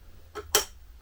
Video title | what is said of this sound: UnBoxing Mercedes-Benz Unimog 406 - 4 x 4 - Lesu RC | ça sonne bien de métal, les portes